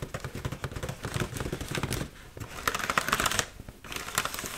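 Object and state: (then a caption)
Foil balloon tapped and scratched. Long nails tap and scratch across the surface of an inflated, hollow red mylar foil heart balloon held close to the mic. Quick, dry crinkly ticks and scrapes come in bursts, with bright, crisp highs and a light hollow thump underneath. Brief quieter gaps separate the flurries.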